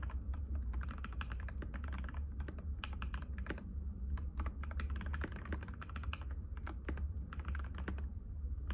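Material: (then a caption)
Plastic. Fingertips of both hands type continuously on a compact cream-white mechanical keyboard with plastic keycaps and a hollow case, resting on a glass table. Rapid, uneven clacking taps with bright click edges run throughout over a steady low hum.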